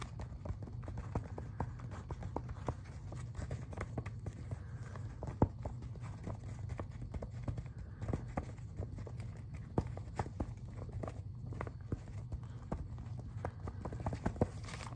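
Fingertips tap and scratch across the glossy pages of an open paper magazine spread. Quick, dry little clicks and soft scratches patter steadily over a low, constant hum, with a few sharper taps standing out.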